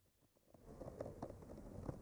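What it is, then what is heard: Painted wooden board. A bamboo skewer with a clipped-on mic slowly traces along the painted lines of a flat, solid, painted wooden art panel. A faint, soft scratching begins near silence and builds into a steady, low, muffled scraping with small taps and bumps. The sound stays quiet and dull throughout, with no brightness.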